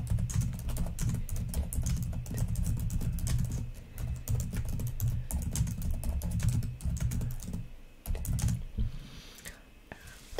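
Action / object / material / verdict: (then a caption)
tap / plastic laptop keyboard keys / plastic / none. Long nails type rapidly on the plastic keys of a black laptop keyboard, making a dense stream of quick clicks over a deep, thumpy base. The typing pauses briefly around four and seven seconds, then turns sparser and quieter with a few last scattered taps.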